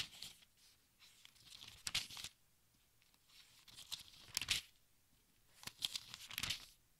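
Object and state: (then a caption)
Thin-paper book pages being turned. Fingertips and nails turn the thin, crinkly pages of a large open textbook one by one. Quiet, bright papery rustling and crinkling swell into short sharp bursts with each turn, then fall back to near silence between them.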